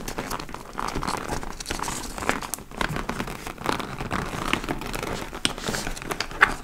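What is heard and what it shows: Long nails scratch the front flap and top panel of a large, hollow, dark-brown leather (likely faux) tote bag. The result is a steady, dry crinkling and scratching texture centered in the midrange, with brief sharper scrapes and crackles throughout and little ring after each stroke.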